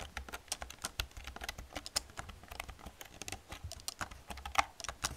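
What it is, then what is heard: Plastic computer keyboard. Long painted nails and fingertips type fast on the hollow plastic keys of an old black plastic computer keyboard. The result is a rapid, uneven stream of short, dry, bright clicks and clacks with almost no ring, over a faint low hum.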